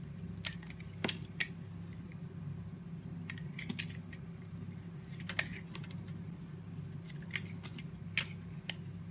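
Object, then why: Soap bar cut with a blade. A solid white soap bar with blue edges is held in the hand and sliced into thin shavings with a box cutter blade. Crisp, bright cutting and scraping clicks come in scattered bursts over a steady low hum.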